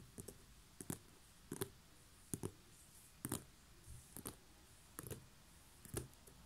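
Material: Straw.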